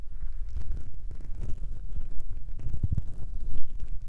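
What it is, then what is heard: Foam microphone windscreens rubbed and tapped. Fingertips rub and tap the small grey foam windscreens covering a recorder's microphone capsules. The result is a continuous, muffled low rumble with soft, dull thumps and scratchy rustling, all deep in the bass with almost nothing bright above it.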